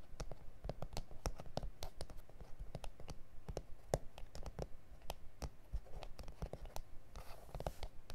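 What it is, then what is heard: Plastic cutting mat. Fingertips and nails tap and scratch across a flat, solid A4 self-healing plastic cutting mat with grid lines. The quiet taps come irregularly, each a short, dry click with a low thump beneath. Soft, bright scratching fills the gaps, and a brief rasp of scraping comes near the end.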